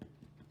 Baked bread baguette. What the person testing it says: c'est relativement creux, c'est pas mal